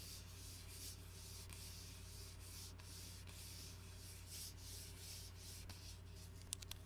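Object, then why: Glass bottle with plastic shrink-wrap label. An Arizona iced tea bottle, glass, about 20 oz, hollow and holding dark tea, is held upright in both hands while fingertips and nails rub and scratch its plastic shrink-wrap label. Quiet, continuous bright scratching and rubbing comes in uneven strokes over a low steady hum, ending with a few sharp clicks.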